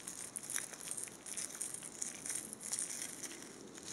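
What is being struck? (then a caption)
Metallized plastic foil tinsel garland. A hand-length blue tinsel garland of thin metallized plastic foil strands twisted on a wire core is repeatedly squeezed, crumpled and rubbed between two hands in blue nitrile gloves. It makes a continuous, bright, crisp crinkling full of quick, dry crackles, with almost no low end.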